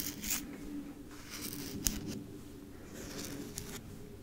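A wide roll of white paper masking tape with a hollow cardboard core is held close while fingertips with medium nails tap and scratch its outer surface. Soft, dry scratching and rubbing run throughout at a low level, broken by three short, bright taps.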